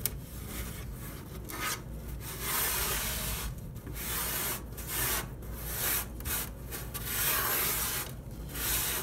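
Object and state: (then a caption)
Wooden drawer bottom wiped with cloth. A hand wipes and rubs the wooden floor and sides of an empty, hollow, box-shaped wooden dresser drawer with a folded cloth, a small pile of sequins sitting in one corner. The result is a steady series of soft, breathy swishing strokes with a bright, airy hiss, over a faint low rumble.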